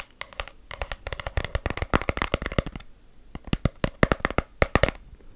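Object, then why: Small cardboard gift box. Long black acrylic nails tap and scratch the surfaces of a small, closed, hollow cream-colored cardboard gift box. Quick bursts of sharp, clicky taps with a dull, hollow low body come in rapid runs, with a brief lull near the middle before the tapping picks up again.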